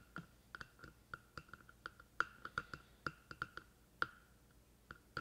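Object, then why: Plastic microphone housing. Fingertips of one hand tap on the top of the black plastic hollow housing of a binaural microphone, giving 18 quiet, short, hollow clicks in an uneven rhythm. Each tap is a dry knock with a resonant ring around 1.4 kHz that dies away almost instantly.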